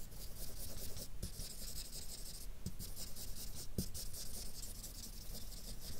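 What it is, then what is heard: Felt-tip marker shading on paper. A grey felt-nib marker rubs shading strokes over a map drawn on a flat white paper sheet. It makes a steady, soft, scratchy rubbing with a bright hiss on top, and a few faint low ticks break through around 1.2, 2.7 and 3.8 seconds.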